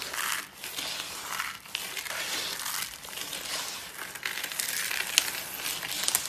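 Both hands scoop, squeeze and rub a pile of small, brittle, dry pink soap flakes between the fingers on a white surface. The result is a steady, bright, dry crunching and crumbling with a fine crackle and almost no low end, swelling and easing with each squeeze. A few sharp, crisp snaps stand out near the end.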